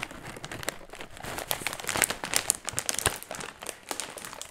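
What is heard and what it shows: A medium-sized, empty, crinkly metallized plastic foil chip bag is held in both hands near the mic while ringed fingertips scratch and squeeze it. The result is a dense run of bright, crisp crinkling and sharp crackles with very little low end, each snap dying away almost instantly.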